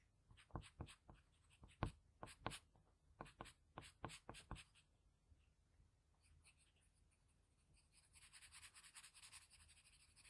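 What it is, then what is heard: Paper drawing sheet. A blue patterned graphite pencil shades the eye of a portrait on a flat sheet of drawing paper, making a quick series of distinct, bright scratching strokes for the first half. After a quieter pause, it finishes with a denser, softer run of rapid, hissy shading toward the end.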